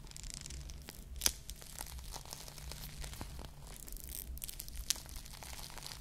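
A foam squishy ice cream bar coated in plastic bead sprinkles is held close and squeezed while long nails scratch across the beads. The result is a steady, bright, crinkly scratching and tearing texture over a faint low hum, with two sharp louder ticks standing out.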